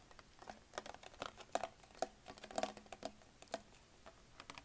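A hollow green Perrier PET plastic sparkling water bottle, held sideways near the cap, is tapped with fingertips and short nails. The result is a quiet, irregular patter of short, dry clicks, each with a brief hollow plastic tone around 660 Hz and bright nail ticks that die away almost instantly.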